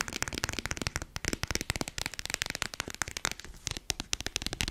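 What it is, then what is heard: Plastic lotion tube. Long acrylic nails tap and scratch rapidly on a small red squeezable plastic hand-cream tube held close to a fluffy microphone. The result is a dense, fast run of crisp, bright clicks and scrapes with no ring, broken by a few brief pauses.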